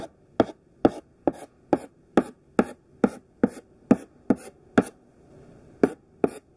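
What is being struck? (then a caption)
Thick chalk stick on a chalkboard. Thick pink sidewalk chalk makes repeated short tap-strokes on a black chalkboard. Thirteen dry, gritty taps come at a fairly steady pace, each a quick scratchy knock with a short, bright scrape tail. A faint soft rub fills the pause before the last two taps.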